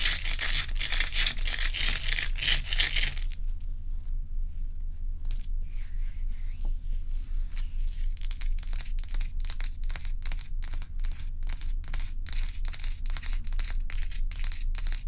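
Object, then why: Ice block. Long nails scratch and rub across the frosty top of a large, solid, round ice block. The first three seconds are a dense, bright, hissing scrape. It then gives way to sparser, rhythmic scratching strokes with a crisp, high edge over a steady low hum.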